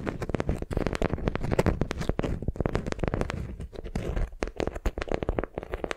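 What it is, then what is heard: Beeswax wrap (wax-coated cotton). A beeswax-coated cotton wrap bundled around a soft, squishy block is held in both hands, gripped and crinkled with the fingertips and long nails. It gives off a dense run of quick, crackly crinkles and sharp little snaps that die away almost instantly. The sound is mostly low and muffled, with bright clicks on top.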